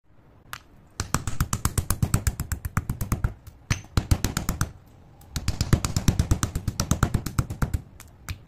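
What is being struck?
Grey chalk pieces in a stone mortar.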